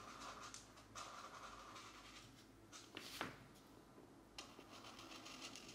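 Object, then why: Thin paper page rubbed with a felt-tip marker. A felt-tip alcohol marker, held in the right hand, rubs back and forth across a thin paper page of an open mandala coloring book lying flat on a desk mat while the left hand holds the page still. Soft, bright scratchy strokes rise and fall over a quiet background hum. A few sharper taps and scrapes stand out among them.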